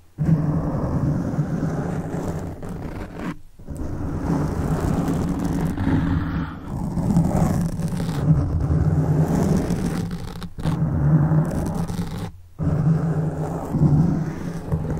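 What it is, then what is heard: Foam microphone windscreen being scratched. Fingertips scratch the top and sides of a black foam microphone windscreen, producing a dense, low rumbling scratch with a steady hum near 150 Hz. The rustling continues almost without pause, broken by a few brief silences where the fingers lift off.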